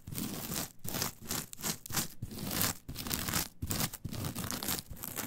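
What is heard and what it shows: Long nails scratch and dig into a flat, brown, coarse coir fiber mat. The result is rough, crunchy, crinkling scratches in repeated strokes, broken by brief pauses, with a bright hiss over a low rumble.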